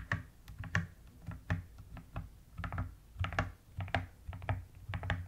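Uneven typing on a mechanical keyboard with a white case and pastel plastic keycaps, with moments of long nails tapping and scratching across the keycaps. The short, soft clicks have a deep, muted thock underneath and brief bright ticks on top, and they die away almost immediately.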